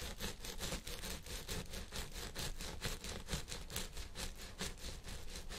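Fingertips and nails of both hands scratch and rub the fibers on the sides of a purple synthetic fiber wig resting on a head form. Bright, scratchy rustling strokes repeat at an uneven pace of about two per second over a steady low rumble, with each stroke dying away quickly.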